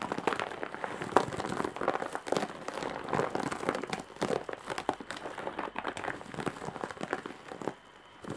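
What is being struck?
Woven straw and jute bag.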